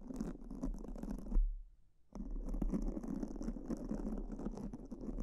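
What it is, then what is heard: Foam microphone windscreen being scratched. Two black foam microphone windscreens are brushed and scratched with pink silicone spoolies held by fingertips in repeated scratching strokes, giving a dense, low-heavy rustle with a faint bright hiss. The scratching breaks off after a soft bump into a brief near-silence, then resumes steadily to the end.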